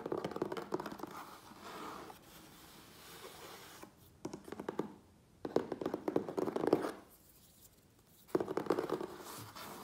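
Fingertips and nails tap and scratch the sides and top of a medium, closed, hollow corrugated cardboard Priority Mail box. Bursts of fast, dry, mid-pitched scratching and tapping alternate with quieter, softer rubbing between them.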